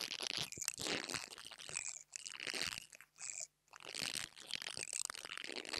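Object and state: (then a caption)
Mini lavalier microphone grille scratched with a brush. An interdental brush scratches the top of the metal grille on a small black plastic mini lavalier microphone. The result is a dense, crunchy, bright scratching that runs close to the mic, stopping briefly twice before continuing to the end.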